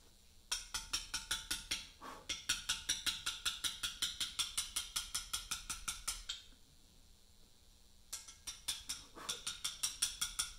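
A small round mallet taps a chisel against a large, solid Portland limestone memorial slab while cutting letters, producing about forty quick, bright, clicky hits at a steady working pace. Each strike is sharp and short, with almost no low end. The tapping pauses for about two seconds partway through, then resumes.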